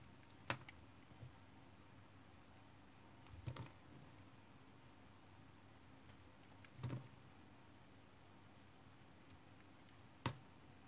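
A solid white bar of soap, held in the hand, has its edges sliced off with a utility knife blade, with the shavings piling up on the table. A few short, spaced cuts are heard, each a quick crisp scrape with a soft low thud, separated by long stretches of quiet hiss.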